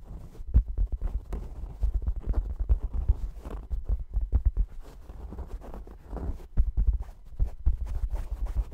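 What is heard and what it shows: A soft, stuffed, mustard-colored upholstered fabric cushion is held in front of the microphone and scratched with fingernails. The result is a dense series of short, dull, muffled scrapes and soft thuds, with almost all of the energy sitting very low and no bright edge.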